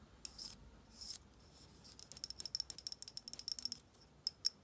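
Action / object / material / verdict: tap / frosted glass skincare bottle / glass / none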